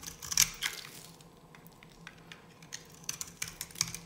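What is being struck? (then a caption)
Bar soap scraped with a knife blade. A solid, dry yellow bar soap is held in the hand and scraped and cut with a metal knife blade. Short, crisp, bright scratching strokes come in bursts, the loudest near the start and again toward the end, with quieter crumbly scraping in between. Each stroke dies away almost instantly.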